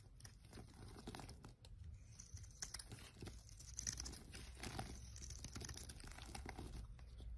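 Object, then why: Soap bar scraped with a small knife. A small metal knife scrapes and shaves thin curls from a solid rectangular bar of pink and white striped soap held in one hand. The result is a steady, soft, dry scratching and crinkling with bright crunchy edges over a low, muffled rumble, running throughout without a pause.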